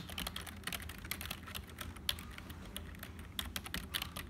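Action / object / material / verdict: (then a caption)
tap / plastic computer keyboard / plastic / none. Fingertips type quickly on a black HP full-size plastic keyboard that sounds hollow, producing a dense run of short, bright key clicks over a steady low hum. Toward the end, a single finger presses individual keys, leaving a few sharper, more separated clicks.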